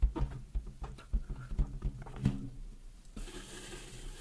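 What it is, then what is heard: Latex balloon. A large, inflated pink latex balloon, hollow and air-filled, is held in both hands in front of the mic and tapped and rubbed with long nails and fingertips. About ten soft, deep, quickly fading thumps come at an uneven pace. Near the end they give way to a steady, brighter rubbing hiss.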